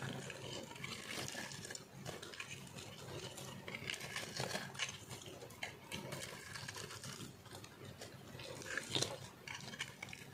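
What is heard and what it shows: A round, solid, speckled bar of dry soap held in the hand is shaved with a metal knife blade, sending crumbly flakes falling. A continuous, bright, crunchy scraping runs throughout, with dense small crackles and a few sharper scrapes toward the end.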